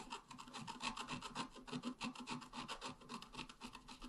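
A pointed wooden stylus scratches fast and continuously across a flat, black-coated scratch art card about A4 in size. The result is a dry, rasping scrape made of rapid, uneven strokes, about three to four per second, that swell and fade. It has a scratchy midrange tone and a bright hiss.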